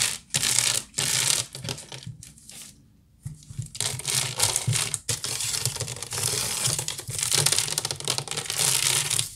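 Long nails scratch fast and tap across the weave of a hollow woven wicker basket, making dense, bright, crackling rasps in quick bursts. The scratching briefly drops to a quiet lull around the two-to-three-second mark, then resumes at full intensity over a faint low hum until the end.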